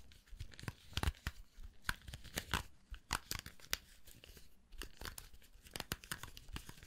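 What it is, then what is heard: Round hair brush, bristles flicked. Fingertips rub and flick the black plastic bristles of a round hair brush with a metal barrel while its handle is held. The result is a rapid, irregular run of sharp, dry clicks and bright scratchy crackles, like tearing or crinkling, over a faint low rumble.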